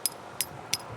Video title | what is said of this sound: GreanBase 75' Lightweight Expandable Hose with Pattern S... | Hear that solid sound. Brass fittings with gaskets.